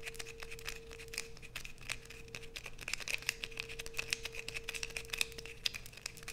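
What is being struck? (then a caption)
Bar of soap. A solid blue bar of soap, held in both hands, is aggressively scratched with long nails, leaving a pile of fine shavings. Dense, rapid, dry scratches crackle brightly and quietly throughout, with a faint steady mid tone humming underneath.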